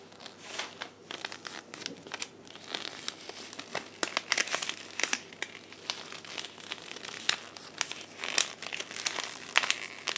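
A thin sheet of blue paper is folded and crumpled by hands in black lace gloves. It gives a continuous, bright crinkling made of many sharp, short crackles and rustles, with almost nothing in the low end.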